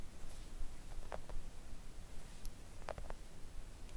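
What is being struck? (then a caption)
Silicone nail art mat tapped with acrylic nails. Long acrylic nails on both hands gently tap a thin, solid, flat pink silicone nail art mat resting on a table. The taps are soft, short, and muffled, landing in loose, irregular clusters over a quiet, low background rumble.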